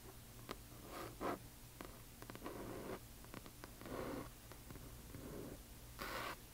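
Long nails scratch and tap the glossy paper dust jacket of a large hardcover book lying flat. Soft, papery scratching swells come in bursts, broken by short, dry taps that die away almost at once. A steady low hum sits underneath throughout.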